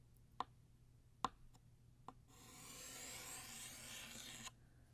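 A blue chalk stick held in the fingers gives three sharp, dry taps on a flat black chalkboard, each with a short, clicky ring near 1 kHz. It then draws a long horizontal line, making a steady rasping chalk scrape that stays bright and hissy for about two seconds before stopping abruptly.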